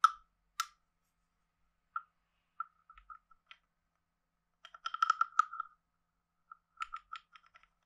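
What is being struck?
Carved hollow wooden frog guiro and stick.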